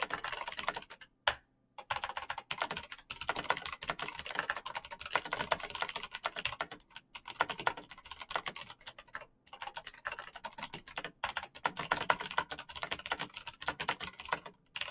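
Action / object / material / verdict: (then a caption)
tap / mechanical computer keyboard with plastic keycaps / plastic / none. Fingertips type continuously on a black RGB mechanical keyboard with plastic keycaps and clicky switches. Rapid, bright, overlapping clicks and clacks run throughout, with brief pauses near the start and around the middle.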